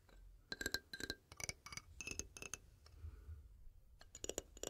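A small rainbow toy xylophone with painted metal bars on a wooden frame is held upright in both hands while fingertips and nails tap and flick the metal bars. The result is a quiet, irregular string of short, bright clinks with a tone near 1.6 kHz and high overtones, each dying away almost at once, over a soft low rumble.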